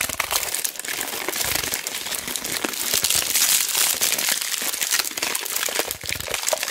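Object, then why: Roll of mounting tape in plastic shrink wrap. A large white roll of mounting tape, shrink-wrapped in clear labeled plastic, is held in both hands while fingertips and long black nails squeeze and rub the wrap. The result is a steady, bright crinkling and crackling of the plastic, with most of the sound in the high frequencies.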